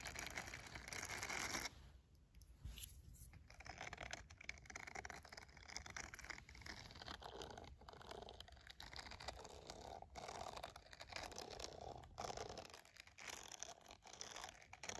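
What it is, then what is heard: Silicone scrubber glove being scratched. Bristles of a green silicone scrubber glove, lying flat with the bristles facing up, are scratched with fingernails and a red pen. The scratching is dense, brisk and papery, with fast crinkly scrapes and brief gaps, and it carries a bright, hissy top end.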